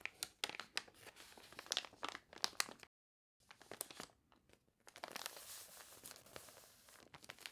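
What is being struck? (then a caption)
Glossy paper catalog pages. Long nails scratch and rub the wavy, glossy pages of a water-warped paper toy catalog. Bright, crinkly crunches and scrapes come in quick bursts, broken by a brief silence. A steadier, hissing rub of the paper follows.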